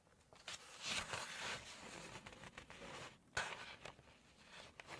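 Bright, hissy scratching and crisp rustles, then a sharp flip as a glossy paper page turns.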